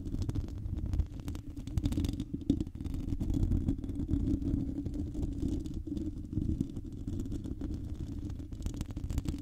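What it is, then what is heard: Metal mesh microphone grille scratched. Long painted nails scratch across the hollow metal mesh grille of a silver microphone, producing a steady, dense rumbling scrape concentrated in the low range. The close, muffled scratching runs continuously throughout with a faint tonal hum around 277 Hz and almost no high-end brightness.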